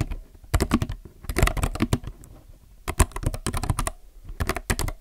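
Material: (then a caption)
Plastic. Fingertips of both hands type steadily on a compact mechanical keyboard with plastic keycaps. Quick bursts of deep, low-heavy clacks come in runs with brief pauses between them, each keystroke stopping almost instantly.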